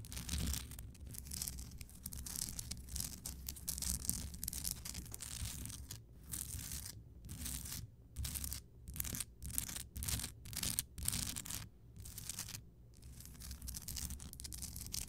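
Long painted fingernails and fingertips scratch and tap the rough surface of a large, solid, pink Himalayan rock salt crystal lamp lit from inside. A dense, dry scraping hiss with bright grit runs over a steady low rumble. From about six to thirteen seconds it breaks into short bursts separated by brief silences, and each tap dies away almost instantly.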